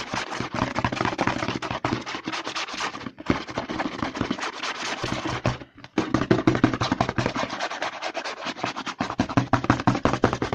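Fingertips and short nails rapidly scratch and rub the label of a hollow white plastic CeraVe lotion bottle with a green pump, held upside down over a table. The result is a dense, fast stream of dry, crackly scratching with a hollow plastic body, broken by brief pauses around 3 and 6 seconds.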